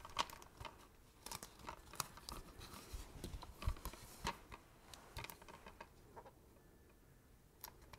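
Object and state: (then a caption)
Plastic video game case. A hollow, thin, book-sized translucent blue plastic PS4 game case with a disc inside is held in both hands and tapped and scratched across its cover with fingertips and nails. Quiet, irregular sharp taps and clicks with a bright crinkly edge mix with soft scratching, each tap dying away almost instantly.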